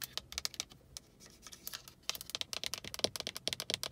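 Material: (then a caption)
Hard plastic. Long acrylic nails tap and scratch the buttons and knobs of a solidly mounted, hard plastic car dashboard climate control panel. The result is a string of quick, dry, bright clicks with almost no ring and little low end. The taps are sparse and quieter through the first two seconds, then turn into a dense, louder patter.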